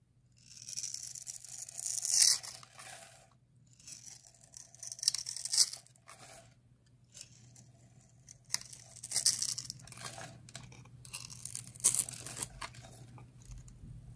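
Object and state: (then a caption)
Dry soap bar. A utility knife blade scrapes and carves crumbly shavings from a solid blue bar of dry soap with a stamped, textured face, held in the hand. Dry, bright scraping and crunching comes in bursts of strokes, with quieter pauses between them. A faint steady low hum runs underneath.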